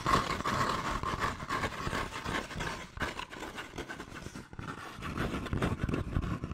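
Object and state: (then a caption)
Cardboard sleeve. A flat, hollow brown cardboard sleeve is held close to the mic and scratched and tapped quickly with fingernails. The result is a dense, irregular stream of dry scrapes and hollow taps with a papery, bright edge and a faint tone near 1.1 kHz, briefly thinning out around the middle before picking up again.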